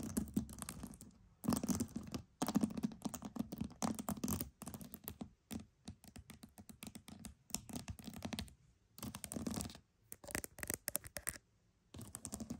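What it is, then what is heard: Pearls. Pearls are tapped and scratched in close, dense bursts of quick clicking and rasping, broken by short silent pauses. The ticks are dry and short with no ring, carrying a low body and a bright, crisp edge.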